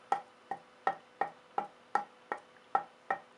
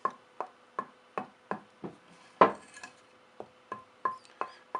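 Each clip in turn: First: purpleheart tonewood board with a good tap tone. Second: dense purpleheart board with poor tap tone.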